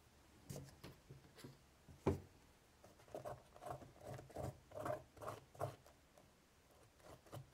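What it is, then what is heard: Woven straw basket lid. A cotton swab held in the fingertips scratches into the crevices of a hollow woven straw basket lid with a raised braided design. It makes a series of quiet, soft, dry scratching strokes with a low, muted body and almost no bright edge. Each stroke dies away quickly, and one firmer scrape stands out near the two-second mark.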